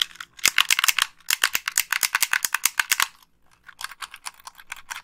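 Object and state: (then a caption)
Plastic game controller. Long pink nails click the buttons and scratch the shell of a hollow white plastic Xbox 360 gamepad, giving a rapid run of sharp, bright clicks that die away almost instantly with no low end. After about three seconds of loud tapping there is a brief pause, then a quieter, scratchier stretch of clicks continues to the end.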